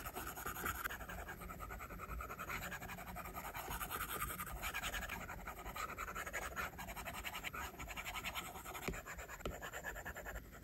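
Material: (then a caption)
Glass. A plastic stylus tip draws on an iPad's glass screen, possibly covered with a matte film, while the fingertips of the other hand rest on the screen. Quick, dry scratches and light taps run steadily and close together for the whole clip, with a scratchy hiss centered around 1.5 kHz.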